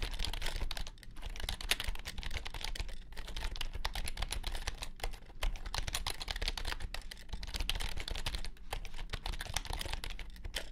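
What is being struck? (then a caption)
Compact plastic computer keyboard. Both hands type with their fingertips on a compact white plastic keyboard, giving a steady, dense stream of quick, bright clicks with a low rumble underneath. The keystrokes run together continuously, with a few short pauses, for the whole clip.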